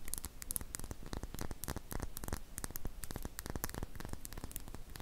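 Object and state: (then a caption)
Glass dropper bottle. A small glass serum dropper bottle with a silver cap, which appears to hold liquid, is held close to the face and tapped and scratched with long painted fingernails. The result is a quiet, dense stream of rapid, crisp clicks and scratchy rasps with bright, sharp edges over a low, muffled rumble.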